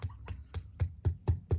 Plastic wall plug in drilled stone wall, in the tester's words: tap them in with these till they make that solid thud sound, which is what we want and need